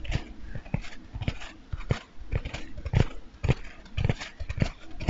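A large, light-blue, porous foam bath sponge, not hollow, is held beside the microphone and scratched and rubbed with fingernails and fingertips. The result is a close, soft run of irregular scratchy rubs and muffled thumps, heavy in the low end, with bright scraping at the top and no ring after each touch.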